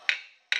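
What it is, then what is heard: Copper sheet not seated on stake, ringing. A hammer planishes a copper sheet over a steel stake where the metal is not seated in direct contact with the stake. Two bright, ringing metallic taps are heard, each fading quickly. This hollow, unseated sound is the one to avoid, not the dead sound of a direct connection.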